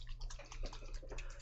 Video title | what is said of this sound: Good Nuf Painting Live tuesday paint and chill | you can hear that the ball is actually stuck there in the bottom with all that pigment